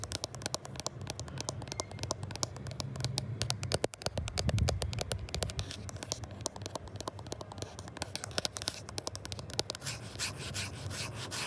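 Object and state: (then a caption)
Smartphone glass back, tapped and scratched. Fingertips rapidly rub, scratch and tap on the matte glass back of a gold iPhone 11 Pro, just below its triple-lens camera bump, while the phone itself records. Dense, crackly scratching is punctuated by sharp, quick taps over a steady low rumble.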